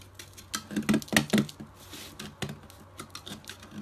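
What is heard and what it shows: A metal box-cutter blade scrapes and shaves a solid rectangular chalk block with white, pink, orange and blue stripes, held in the fingers over white paper. Irregular, dry, crackly scrapes and clicks with a bright edge cluster in a loud burst early on, then continue as softer scratches. Crumbly chalk flakes fall onto the paper.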